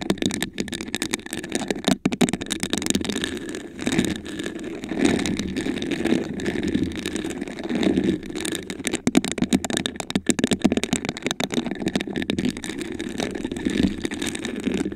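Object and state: Textured glass vase.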